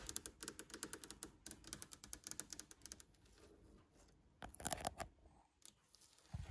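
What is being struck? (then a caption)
Varnished solid wood tabletop. Long nails tap and scratch on a glossy varnished solid wood tabletop near its edge. A quick run of sharp, bright clicks comes first, then a soft scratchy rasp, then another cluster of crisp taps. The clip ends on a duller, lower knock.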